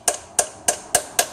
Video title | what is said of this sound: GM Holden BMW 5L40E Automatic Transmission Filter Service & Replace Extension Housing Seal A5S360R | you can hear when it's gone all the way in, it makes a different sound